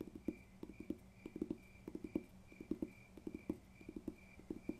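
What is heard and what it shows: Fingertips tap on a paper textbook in a quick, irregular rhythm, about twenty short, dull knocks with a low-mid thud and almost no ring. A faint steady high tone runs underneath.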